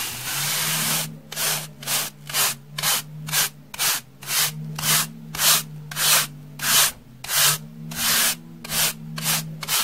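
A pink plastic brush with soft bristles is stroked across a solid, porous, rectangular slab of beige dry floral foam held in the hand. After an opening continuous rub, about sixteen separate dry, bright, hissing brush strokes follow at a steady, unhurried pace. A faint low hum runs underneath.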